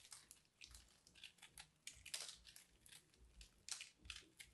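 A dried, porous, crumbly purple soap ball about the size of a fist is cut into with a small knife and then broken open by hand. This gives a run of quiet, bright, crisp crunches and crumbling crackles that fade quickly, with little low end.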